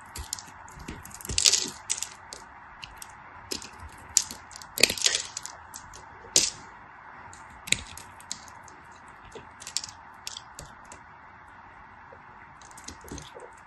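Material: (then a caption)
Glycerin soap. A craft blade shaves and cuts flakes off a solid translucent pink glycerin soap bar held in a hand with white nails. Crisp, bright crackling scrapes and sharp clicks sound in irregular bursts over a steady soft hiss, with the loudest cuts clustered early on.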